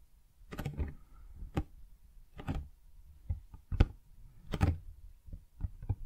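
Long dark-painted fingernails tap and scratch the front face of a large, hollow, printed cardboard Blue Yeti X retail box held upright in both hands. Soft, low, hollow knocks alternate with brief brushing scratches that reach bright, airy highs, each dying away almost instantly, in an irregular series across about six seconds.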